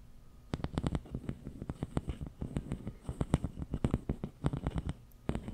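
Fingertips scratch and rub along the corrugations of a long, hollow, empty pink ribbed plastic tube held across the microphone. It makes a rapid run of short, dry clicking scratches with a low, muffled body and a brief bright edge on each tick. The ticks come in uneven bursts and pauses, and each one dies away almost instantly.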